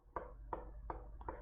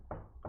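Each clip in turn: First: Five short, dry knocks with a mid-pitched plastic clack that dies almost at once: a plastic chair. Second: Two dull, low knocks with a short woody thud and almost no ring: a wooden tabletop.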